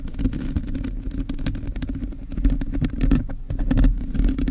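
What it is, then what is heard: Metal mesh microphone grille. Long blue nails scratch and tap quickly across a hollow black metal mesh microphone grille held steady. The result is a dense, irregular patter of short scratches and taps over a constant low, boomy rumble, with brief dry clicks that fade almost instantly.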